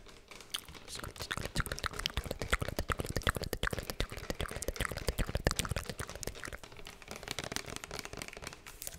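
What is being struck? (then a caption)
Small plastic spray bottle. A small plastic spray bottle with a yellow label and a pump nozzle is tapped and scratched with long nails. The result is a steady stream of quick, dry, irregular clicks mixed with crinkly scratching, close and quiet, with no ring after each tap.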